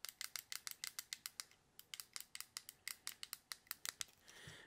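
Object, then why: Plastic fidget cube. A small hollow white plastic fidget stress cube with coloured buttons and switches is held in both hands near the mic while fingertips click and press its buttons. A quick run of sharp, bright plastic clicks, each dying away almost instantly, pauses briefly partway through, then resumes before fading into a soft rustling hiss at the end.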